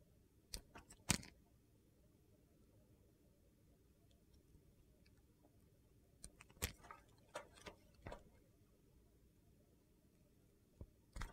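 A metal utility knife scrapes and slices the surface of a solid oval bar of clear glycerin soap with colored cubes, held in hand. Short, crisp scraping and cutting clicks come in scattered clusters, the loudest near the start, over a quiet, low background hiss.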